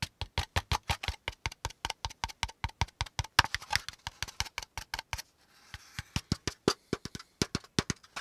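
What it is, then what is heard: Corrugated cardboard packaging insert. A brown corrugated cardboard packaging insert with hollow pleated compartments is held close and tapped with the fingertips along its folds. About 44 quick, dry taps with a hollow low thump and a bright papery click come in an uneven rhythm. A brief pause near the middle carries only a faint rustle before the tapping resumes.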